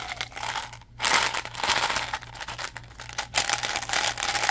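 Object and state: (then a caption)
Plastic gum bottle, label crinkled. Fingertips handle a small, hollow blue plastic Mentos gum bottle, tapping it, crinkling its label, and opening and closing its flip lid. The result is a close, dense run of bright crinkling and light plastic taps and clicks, with bursts that swell and fade, a hollow tone around 800 Hz, and very little low end.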